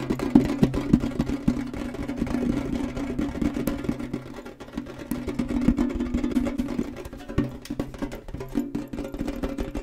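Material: Tinplate.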